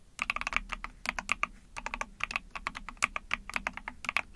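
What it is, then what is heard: Plastic mechanical keyboard being typed on. Rapid typing on a small 44-key Epomaker TH40 mechanical keyboard with an ABS plastic case, PC plate, backlit pink and white keycaps, pressed with long painted nails and fingertips. Quick bursts of bright, dry plastic clacks come in uneven clusters, each dying out almost instantly.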